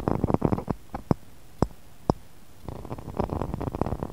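Fingernails tap and scratch the rim of a small, empty, clear textured pressed-glass cup sitting in a glass saucer. A quick flurry of soft, dull taps opens the clip, followed by three separate sharper clicks with quiet gaps between them. A denser run of tapping and scratching closes it, with each hit dying away almost instantly.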